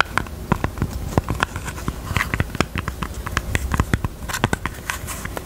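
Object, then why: Small jewelry box. Fingers tap on a pink jewelry box in a quick, uneven series of light, dry knocks. Each tap is a short, sharp click with a little low thump and almost no ring, over a faint steady background.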